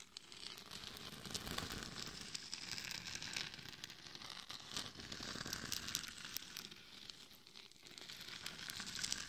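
Long nails scratch the sides and back of a hollow, glitter-covered mannequin head fitted with a microphone. The result is a continuous, dense, bright scratching and crinkling, with quick crackly rasps and little low end, that swells and eases over the clip.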